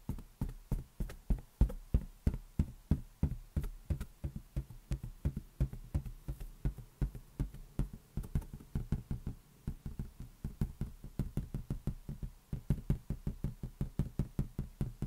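An inflated rubber balloon is tapped repeatedly with the fingers for ASMR. About 60 quick, dull, low thumps come at roughly three per second in an uneven rhythm, each dying away almost at once with no high ring.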